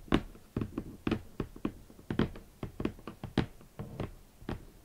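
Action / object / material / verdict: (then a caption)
tap / rigid cardboard box / cardboard / none. A large, red, rigid, hollow cardboard shoe box is tapped with long nails on its top edge and front face. Seventeen short, dull, hollow taps are heard at an uneven, unhurried pace, each with a low-mid body and a quick decay.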